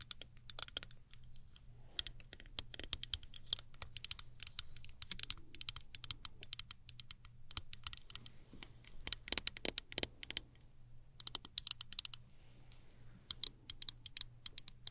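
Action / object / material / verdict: tap / plastic folding travel hairbrush handle / plastic / none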